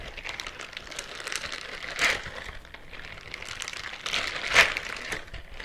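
Fingernails on one hand scratch the bristles on the fingers and palm of a white silicone bristle scrubbing glove worn on the other hand, close to the microphone. A dense, bright, crinkly scratching runs throughout, mostly above 1 kHz with little low end. It swells into two louder bursts around 2 and 4.6 seconds.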